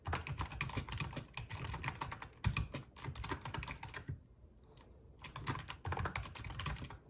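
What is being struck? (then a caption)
Plastic membrane keyboard. Fingertips of both hands type on a full-size black plastic RGB membrane gaming keyboard with a metal top plate. A fast, dense stream of short, dry clacks with a low thump under bright key clicks runs for about four seconds, pauses briefly, then resumes.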